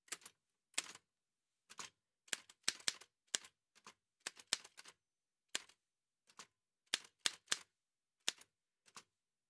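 Gloved fingertips in white satin gloves press the keys of a large, heavy old Remington manual typewriter with a dark painted metal body and paper loaded. About nineteen sharp, bright typebar strikes land in irregular bursts. Each clack is dry and quick, with almost no low end.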